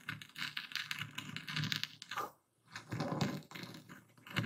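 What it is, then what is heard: Epsom salt crystals being crushed. A dark speckled stone pestle crushes, grinds and stirs coarse white Epsom salt crystals in a full wooden bowl. The result is a dense, gritty crunching with bright scratchy texture and a low thud underneath, broken by a brief quiet pause about halfway through before the grinding resumes.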